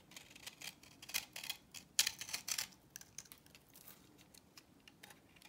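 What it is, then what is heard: Dry soap bar being scraped. A utility knife blade scrapes the surface of a solid, cross-hatched orange bar of dry vintage soap held in the palm, sending crumbly chips off. Crisp, dry, bright scratching and crunching bursts come in an uneven rhythm, loudest in the first half-second through mid-clip. They then taper into softer, quieter scrapes.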